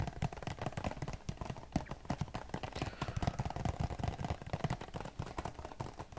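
A hand-sized printed cardboard Q-tips box, likely hollow with cotton swabs inside, is held close and tapped with fingertips across its front face. Rapid, uneven streams of soft, dull, low taps follow one another with almost no ring, giving a muffled, hollow patter throughout.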